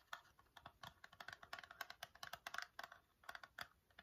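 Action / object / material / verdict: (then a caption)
tap / small cardboard box / cardboard / none. A small, hollow Nair facial wax strips cardboard box is held in the hands and rapidly tapped with fingernails. About two dozen quick, dry, clicky taps come in uneven bursts, each bright and papery with almost no low end and no ring.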